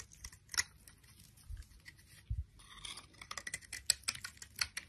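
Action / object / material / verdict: scrape / solid bar of soap shaved with a blade / soap / none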